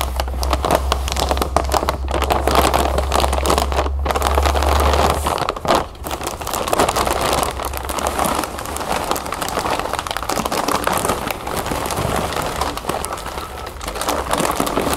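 A clear plastic inner bag full of round puffed cereal is pinched and crinkled with fingertips and nails, then lifted and shaken. A dense, continuous crackling and rustling runs throughout, with the puffs rattling inside, and a steady low hum sits underneath for the first five seconds.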